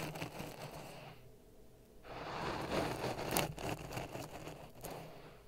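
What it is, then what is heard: Dry sand stirred in a plastic cup. A thin wooden stick is stirred and scraped through dry grey sand over a white layer in a tall clear plastic cup resting on a red microphone. Steady gritty scraping and rustling fade to a quieter pause, then return louder and brighter with a few sharp, high scratches.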